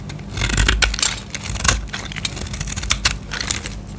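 A utility knife blade scrapes a solid green bar of soap held in the hand, shaving it into curls. Dry, crackling rasps repeat in quick bursts, bright and papery over a steady low hum.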